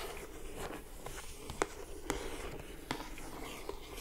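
Long acrylic nails scratch and tap the lid and edges of a closed lilac, glossy-coated cardboard gift box. Soft, steady scratching runs throughout, broken by four short, sharp taps that die away almost instantly over a low background rumble.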